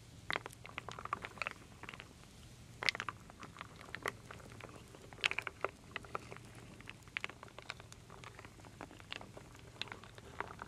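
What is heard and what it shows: A wooden spoon stirs and scoops through a full wooden bowl of wooden beads, acorn pieces and other small solid wooden pieces. The result is a steady patter of short, dry, bright clicks and clatters with no ring. Louder knocks stand out over a quiet, low hum.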